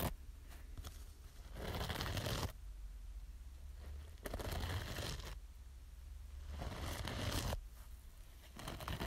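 Long nail tips scratch the green scouring pad of a small yellow foam kitchen sponge. Dry, rasping bursts of bright scratching rise and fall in repeated stretches over a steady low hum.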